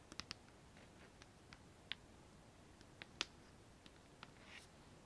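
A medium, hollow, white painted metal plant pot with a lace-pattern cutout rim, filled with makeup brushes, is held in the hands and tapped and scratched with long nails on its outer wall. About ten quiet, bright, sharp clicks come at irregular intervals, each dying away almost instantly. A soft scratching swell follows near the end over a low hiss.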